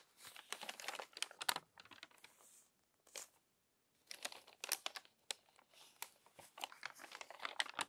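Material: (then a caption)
Paper. Fingertips with long nails turn and rub the wrinkled pages of an open glossy paper magazine. Bursts of bright, dry crinkling and rustling come in quick clusters, separated by brief quiet gaps, with no low end.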